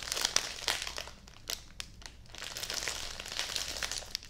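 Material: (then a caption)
Plastic film. A full, medium, flat retail package of folded bedding, sealed in clear crinkly plastic with a printed card insert and a barcode label, is handled with long nails and fingers, squeezed, hugged against the chest and crinkled. Bright, dense plastic crinkling fills the clip with sharp crackles, easing to a quieter stretch in the middle before building again.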